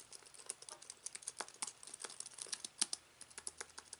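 Both hands type with their fingertips on a slim aluminium keyboard with white plastic keys resting on fabric. A steady, quick run of soft, short, bright clicks comes with no low end. Each tap dies away almost instantly.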